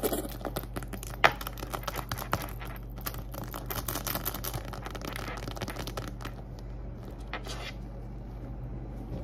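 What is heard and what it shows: Long acrylic nails rapidly tap and scratch the surface of a small, hollow, soft-sided zippered pink glitter faux-leather makeup pouch held in the hand. Dense crinkly scratching and quick tapping run throughout, with a sharper tap early on, over a steady low hum.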